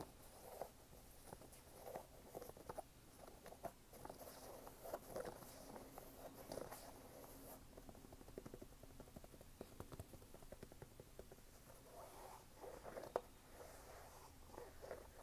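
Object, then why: Canvas sneaker with rubber sole. Fingertips tap and rub the canvas upper and rubber sidewall of a single red canvas sneaker with a rubber sole, hollow and empty, held in one hand. Quiet, dry, muffled taps with no ring sit over a steady soft scratching hiss throughout.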